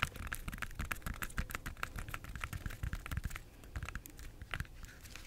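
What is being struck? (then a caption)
Banana peel. Long nails tap and scratch the unpeeled peel of a bunch of ripe yellow bananas with brown streaks. A quick, soft run of dry taps and scratchy rasps patters along steadily, each one short with no ring.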